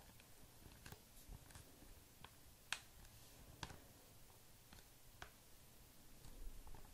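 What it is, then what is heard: Foil mask sachet tapped with nails. Fingertips and short manicured nails tap a hand-sized, flat laminated plastic/foil sachet of Pedi Patrol repairing foot masks, filled with a thin sheet mask and held up in both hands. Quiet, sharp clicky taps with almost no ring are scattered over a soft, low rustling background.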